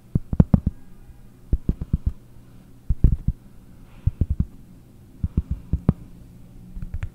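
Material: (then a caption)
Cork. Long nails tap a round, flat, solid cork disc held close to the microphone. The taps land in quick clusters of dull, low, muffled knocks that die away almost instantly, with short pauses between bursts.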